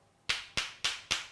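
Two closed clams are knocked together four times to check that they are fresh and edible. Each knock is a sharp, bright click centred near 2.8 kHz, with almost no low end and a quick decay. The knocks sound hard and solid rather than hollow, which marks the clams as live and fit to eat.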